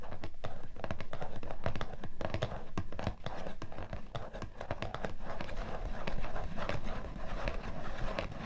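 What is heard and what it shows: Fingertips and long painted nails tap and scratch the top of a closed, printed cardboard box of facial tissues (Shisara Kosmetiktücher, 90 pieces), hollow and presumably full, lying on a fluffy white rug. Many quick, irregular hollow taps mix with scratchy rustles, mostly deep and dull with short, soft decays and a steady close-up level throughout.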